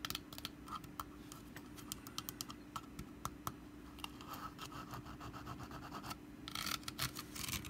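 Long black nails tap and scratch the woven sides and lid of a small, hollow, orange wicker pumpkin-shaped lidded basket resting on a carpet. A dry, bright, rustling scratch runs throughout, broken by dozens of quick, sharp taps that die away almost instantly, over a faint steady low hum.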